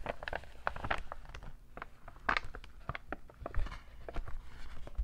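A medium-sized, hollow, empty cream NBA Store paper shopping bag printed with basketballs, with rope handles, is unfolded, crinkled and tapped with fingertips and short nails. Quick, dry paper crackles and soft taps come in uneven bursts over a low, steady rumble.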